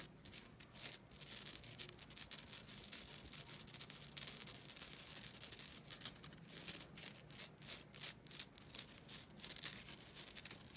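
A thin, solid, flat rectangular green nylon scouring pad is held up and scratched across its rough surface with long nails. It makes a dense, bright, raspy scratching that runs on for the whole clip, with quick strokes that swell and fade and very little low end.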